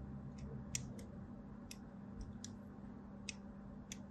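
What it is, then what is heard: Soap bar being scored with a blade. A thin blade scores diagonal lines across the surface of a solid white soap bar, making short, crisp, bright ticks and clicks at irregular intervals. The quiet scratches sit over a steady low hum.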